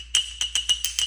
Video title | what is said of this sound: Trying Out the HighLand Park 14" HighTone Slab Saw | if you clink it together, it sounds neat. It's really glassy sounding.